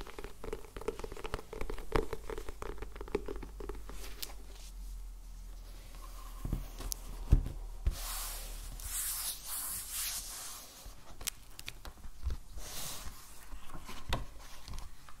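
A medium black solid hardcover sketchbook with cream paper pages is held and then laid on a wooden table, and fingertips and nails tap and rub its hard cover before it is opened. Quick, soft, dull taps come first, then quieter rubbing, a couple of sharper knocks, and a brighter, hissy rustle as the cover opens, followed by more light tapping.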